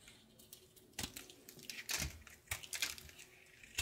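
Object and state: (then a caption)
Soap bar being carved. A light blue solid soap bar held in the hand is carved with a red-patterned knife, and the shavings come off in curls. The cuts make crisp, bright scraping and crackling sounds in irregular bursts, with a few sharper, louder strokes standing out over a quiet background.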